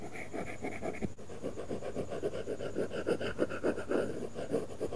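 A stylus tip scratches across an iPad glass screen fitted with a matte, paper-feel plastic film while coloring. Quick, irregular back-and-forth strokes make a dry, continuous scratching and rasping sound, mostly low to mid in tone.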